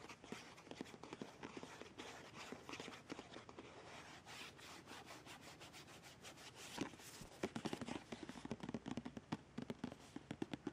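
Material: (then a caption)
Plastic. Long red nails tap and scratch along a partly full white plastic squeeze tube of BIO+ scrub with printed text. A steady, quiet, dry scratching fills the clip, then gives way to a quick run of sharper, crisp taps near the end. Each tap dies away almost instantly.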